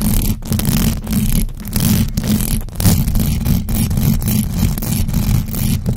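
Long acrylic nails of both hands scratch fast and aggressively across the hollow metal mesh grille of a large black USB microphone. The result is a dense, continuous, boomy scraping rumble, heavy in the lows, with faint bright edges and brief dips as the nails shift.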